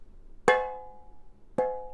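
An all-metal container is tapped twice, each tap giving a bright metallic ring with a clear tone around 500 Hz and overtones that fade over about a second. It sounds different from the metal-bottomed oatmeal container it is compared with.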